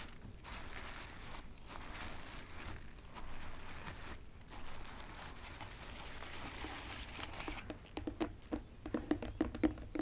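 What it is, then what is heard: Preserved rose petals. Long acrylic nails and fingertips tap and scratch across the tops of a large tray of densely packed white preserved real roses, soft petals forming a solid mass in a white box. Quiet, steady brushing and rustling scratches fill most of the clip, then give way to a quick run of sharper, distinct taps near the end, each with a brief, soft low tone.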